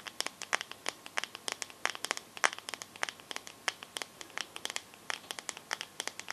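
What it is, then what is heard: Glass phone back. Long nails tap and scratch the glass back of a teal smartphone, making a rapid, uneven run of sharp, bright clicks with almost no low end. Each tap cuts off at once with no ring, and faint scratchy rustles fill the gaps between them.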